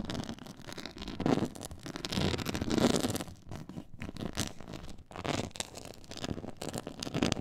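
Long nails scratch across a black pyramid-textured faux leather board, producing dense, rasping scrapes in uneven bursts. The scratching has a low-mid body with a bright, gritty hiss on top, swelling louder in short strokes and dropping briefly to near silence between passes.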